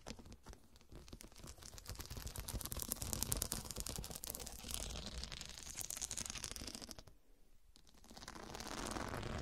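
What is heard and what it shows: Long dark nails tap and scratch the square faceted glass studs on a fabric cushion, making a dense, rapid stream of bright clicks and gritty scraping over a low rumble. The sound builds in the middle, drops to a brief quiet gap near the seventh second, then resumes as steadier scratching.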